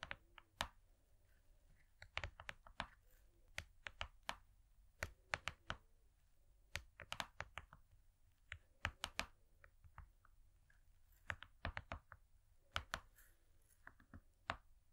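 Long nails tap rapidly on a thin, flat, gold foil–laminated cardboard cake board. The taps come in quick, irregular bursts of sharp, dry clicks with a bright edge. Each one stops almost instantly, with no ring, over a quiet background.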